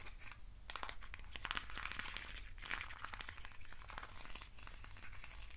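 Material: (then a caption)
Wood. Fingers scratch and rub the sides of a hand-sized hollow hexagonal box made of thin wooden sticks. The result is a continuous, dry crinkling and crackling texture of many quick, brittle clicks, with brighter bursts of rasping, over a steady low rumble.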